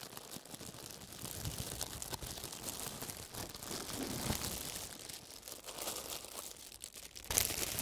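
A thin, wrinkled sheet of clear plastic wrap lies flat on a table in front of the microphones and is pressed and crumpled with fingertips in fingerless gloves, then left alone. It gives a dense, steady stream of bright, crisp crinkling and crackling. A louder, sharper burst of crackle comes near the end.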